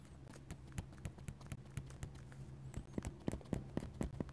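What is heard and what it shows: A steel dip pen nib scratches lines and taps dots on a flat paper sketchbook page. It makes a quick, irregular run of short, dry ticks and scratches, with the taps coming faster and sharper toward the end. A low, steady hum sits underneath throughout.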